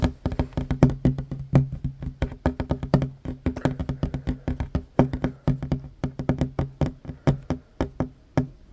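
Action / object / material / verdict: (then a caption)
tap / wooden tabletop / wood / none. Hands with short fingernails tap rapidly on a flat, solid wooden tabletop. A fast, uneven stream of short, dry knocks with a low, woody body around 137 Hz and brief bright clicks on each strike. The taps die away almost instantly.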